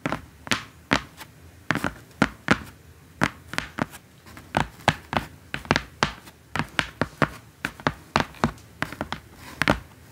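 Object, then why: Corrugated cardboard box. A large, flat, brown corrugated cardboard box, hollow and apparently empty, lies on a table and is tapped on its top with long painted acrylic nails and fingertips. About thirty short, dry taps fall in an irregular rhythm over ten seconds, each a brief hollow thunk with a bright clicky edge that dies away almost instantly.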